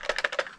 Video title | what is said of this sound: The 10 Best Cheap Gel Blasters For Under $30 in 2024! | when you shake it around you can hear the plastic shaking